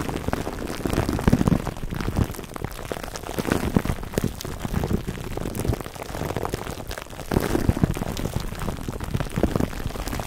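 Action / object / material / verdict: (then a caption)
scrape / plastic cling wrap over a foam microphone windscreen / plastic film / none. Fingertips rub and squeeze clear plastic cling wrap stretched over a black foam microphone windscreen cupped in both hands. The result is a dense, continuous crinkling and crackling, weighted toward low, muffled tones, with louder bursts swelling and fading throughout.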